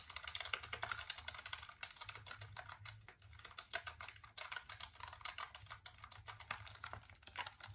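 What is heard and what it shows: Fingertips and nails tap and click the keys of a hollow black plastic computer keyboard, first tilted and then held upright. The result is a rapid, uneven stream of short, bright, dry clicks with almost no ring, over a faint low hum.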